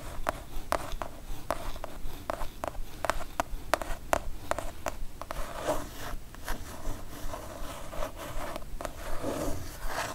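Long nails tap and scratch with both hands on a kraft cardboard mailer box. Quick, dry, clicky taps come in an uneven rhythm over the first half, then give way to rougher scratching and rubbing across the cardboard with a few taps mixed in.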